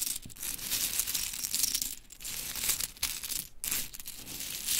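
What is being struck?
Small wooden clothespins.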